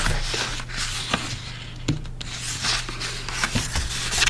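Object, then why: Folded cardstock card. Fingertips rub and press along a thin, flat, folded sheet of red cardstock lying on a wooden table, working at the fold. Soft papery rubbing and scraping alternate with a few quick, bright taps, over a steady low hum.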